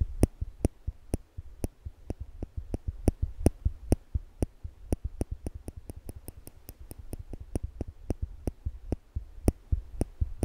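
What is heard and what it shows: Small slanted-tip stainless steel tweezers are held in one hand above a microphone, and the fingers squeeze the arms so the metal tips click together repeatedly. A quick, irregular series of sharp, bright clicks dies away almost instantly over a steady low hum.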